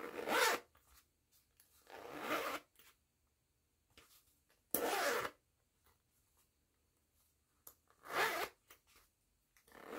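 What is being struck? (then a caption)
Woven fabric pouch with nylon zipper and metal pull. Long-nailed fingers pull the metal pull of a yellow nylon zipper along its track on a small pink and yellow woven jute-look fabric pouch. Four separate bright, raspy zipping strokes stand out, with quiet gaps and faint rustles between them.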